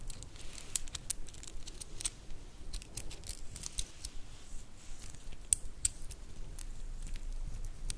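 A black wooden star-inlay bracelet is twisted and flexed between fingers, and long nails make its segments click against each other. The result is a fast, uneven stream of short, bright wooden clicks with light crinkly rustling over a low, steady background rumble.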